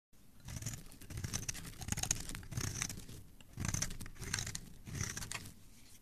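A solid red bar of soap, held in the hand, is carved and scraped with a metal blade, and the shavings fall onto a pile below. Repeated crisp, bright scraping strokes rise and fall in waves, with soft crunching and a low body underneath, and no voice.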